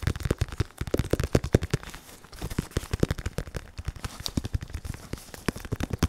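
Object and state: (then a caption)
Synthetic leather boxing focus mitt. A black, red and white RDX padded focus mitt, with a curved, foam-filled synthetic leather surface, is tapped rapidly with latex-gloved fingertips. The result is a quick, uneven patter of dull, low thuds that die away almost instantly, with a faint bright tick on some strikes. A brief quieter patch falls in the middle.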